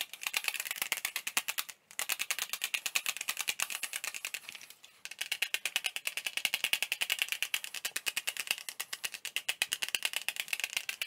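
Fingertips rapidly tap a small, hollow, clear plastic CD jewel case with a printed insert, held in both hands and raised overhead and near the face. The result is a fast, continuous stream of dry, bright rattling clicks with no ring. Two brief pauses break the stream, near 1.8 and 4.8 seconds.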